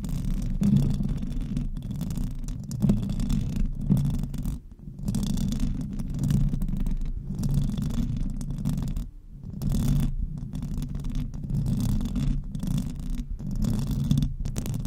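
Long acrylic nails of both hands, wrapped around the hollow metal mesh grille of a silver USB microphone, scratch it fast. The result is a dense, low, rumbling scrape with a faint brighter hiss, broken by short pauses near 4.7 and 9.2 seconds before it resumes.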